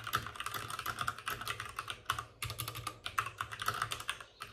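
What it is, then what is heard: Plastic mechanical keyboard. Both hands type rapidly with their fingertips on the plastic keycaps of a white, backlit RGB mechanical computer keyboard that sits on a desk with a padded wrist rest. The result is a quick stream of sharp, short clicks and clacks with a bright edge, centered around 1.3 kHz. Each keystroke dies away almost instantly, and there are brief pauses between bursts.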